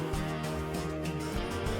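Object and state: Nothing is struck.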